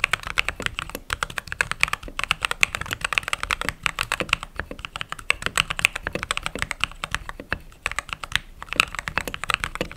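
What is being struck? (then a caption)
Mechanical keyboard, plastic keycaps. Fingertips with short nails type rapidly on the white plastic keycaps of a backlit mechanical keyboard. A fast, steady stream of short, dry clacks is heard, bright and crisp with very little low end, with brief pauses between bursts.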